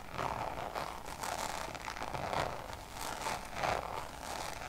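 Long nails tap and scratch across the surface of a Damier checkered coated canvas Louis Vuitton pouch held close. The result is a steady stream of dry, crisp taps and scratchy scraping with a mid-toned ring and bright, rustling texture.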